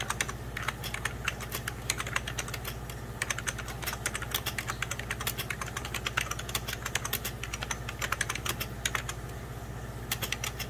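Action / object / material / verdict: tap / plastic computer keyboard / plastic / none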